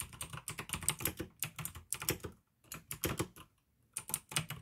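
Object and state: Plastic mechanical keyboard being typed on.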